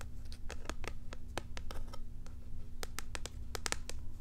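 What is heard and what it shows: A small packaged cat toy, a flat cardboard backing card with a clear plastic blister over the toy, is held in both hands as hollow packaging and scratched and crinkled with long acrylic nails. The result is a quick series of sharp, bright clicks and crinkly scratches. They sit over a steady low rumble and a faint constant hum.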